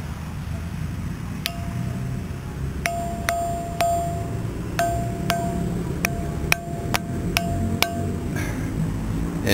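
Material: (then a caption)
Stone. A rock known as a stone bell (lithophone) is struck repeatedly to test whether it rings. Each strike gives a short, bright metallic ping with a sustained tone over low background rumble. The rock resonates like a bell instead of giving a dull thud.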